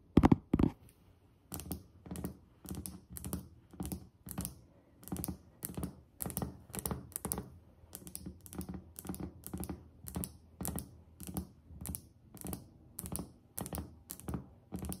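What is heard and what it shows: Long acrylic nail tips of both hands, fingers arched, tap fast on a solid white glazed ceramic tile countertop. Two louder taps open the clip, followed by a steady rhythm of quick clustered tapping bursts. Each burst has a dull, low thunk under bright clicky tips, and every tap dies away almost at once.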